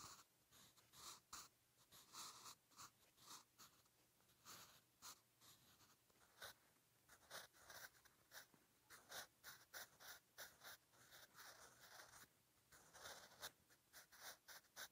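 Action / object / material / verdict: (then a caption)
scrape / graphite pencil on paper notebook page / paper / none. A wooden 8B graphite pencil scratches across a lined paper page of a spiral-bound notebook near the rings, writing Korean letters on the same notebook throughout. The quiet, bright, papery scratches come in short bursts of strokes separated by brief pauses.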